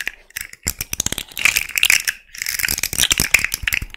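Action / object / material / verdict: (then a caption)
scrape / jointed hard-plastic fidget slug toy / hard plastic / none. Long nails run over the hollow, jointed hard-plastic segments of a small rainbow fidget slug toy while its joints are bent. This produces rapid, bright ratchet-like clicks with almost no low end, a brief pause near the middle, then a denser flurry of clicking.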